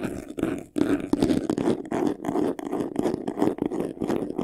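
Fingertips and short nails scratch fast across the front face of a medium white vanity case, a hollow box covered in textured faux leather. The sound is a dense, rasping scrape with a hollow, mid-low body and a bright hiss on top. It comes in rapid, uneven bursts separated by brief dips.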